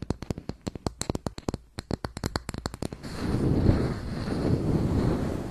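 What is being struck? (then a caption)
Round plastic makeup compact. Long white nails tap and scratch the top and edge of a closed round makeup compact with a brown textured lid, held in hands close to the mic. About 25 sharp, separate clicky taps come in a fast, uneven run for the first three seconds, then give way to a continuous rough scratching with a heavy low rumble until the end.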